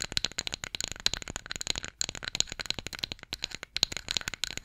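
Long acrylic nails tap and scratch a flat, solid, light-wood spatula or stick held horizontally. A rapid run of dry, bright clicks with fast scratchy sweeps between them, each tap dying away almost at once.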